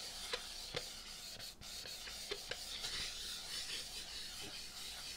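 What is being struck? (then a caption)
Inflated metallic latex balloon. Palms and fingers rub the surface of a large, hollow, inflated rose-gold metallic latex balloon held against the body. A steady, bright, hissing rub runs throughout, broken by five short, sharp squeaks.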